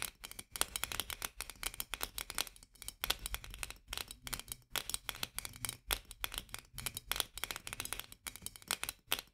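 Long fingernails of both hands rapidly scratch and tap the rim of a white metal lid on a full glass jar. The result is a dense, steady run of bright, sharp clicks and scrapes that stop dead with almost no ring, interrupted only by brief gaps.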